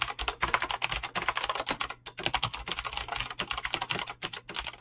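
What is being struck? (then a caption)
Mechanical keyboard with PBT plastic keycaps. Fingertips fast-type on a mechanical keyboard with clicky green switches and PBT plastic keycaps. They make a rapid stream of short, bright clicks that stop dead with almost no ring, and the typing pauses briefly around the two-second mark.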